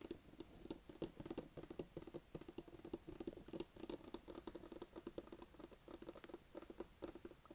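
A closed, hollow, medium-size white cardboard Apple iPad box is held up in both hands and tapped on the lid with fingertips and nails. The result is a quiet, rapid, irregular patter of short, dry taps with a hollow, boxy thump around 340 Hz and bright clicky edges from the nails.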